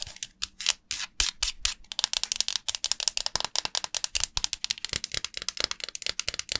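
A dry, solid, hand-sized yellow oval bar of Tolk soap, held over a glass bowl of water, is rubbed and scratched with long nails and fingertips. It gives a rapid series of crisp, bright, dry scratching strokes with almost no low end, starting as slower, longer scrapes and then quickening into dense, short, tapping scratches.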